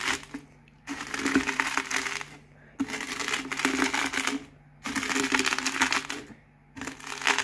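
A hand rolls a cardboard Pringles can across a pile of crisp potato chip pieces, crushing them finer. Four passes of dense, bright crackling and crunching are separated by short near-silent pauses, with a faint steady low hum underneath.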